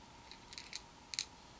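Black tweezers poke and stir through a red plastic bowl partly filled with small, hollow white and red plastic fuse beads, rattling the loose beads against each other and the bowl. Short, bright, clicky rattles come in two quick clusters over a faint steady hum.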